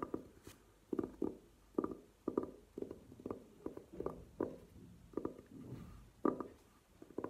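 A velvet-covered hard glasses case standing upright is tapped with long nails, producing a quick, uneven series of soft, muffled taps. The hits are dull and low-mid in tone with almost no bright high end, each dying away almost instantly.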